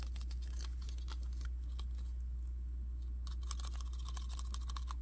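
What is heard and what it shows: Fingernails tap and scratch the back and front plates of a red and black plastic action figure with a rounded, hollow-looking body and yellow tubes. Many sharp, bright clicks and scrapes come in quick, irregular bursts, with a brief lull in the middle, all over a steady low hum.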